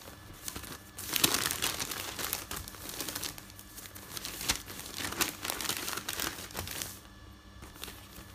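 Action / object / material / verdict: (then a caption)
scrape / folded newsprint paper / paper / none. A folded stack of thin printed newsprint resting on a bed is rubbed, smoothed and turned by fingertips. The result is a steady, bright crinkling and rustling with many small crackles. It grows louder around the first second and goes quieter near the end.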